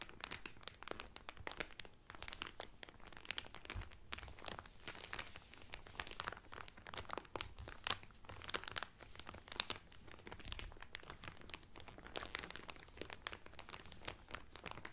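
Fingertips press and crinkle the clear cellophane wrapper around a folded blue Carnival cotton towel. The result is a steady stream of sharp, bright crackles and crisp rustles across the whole clip, with a faint low rumble underneath.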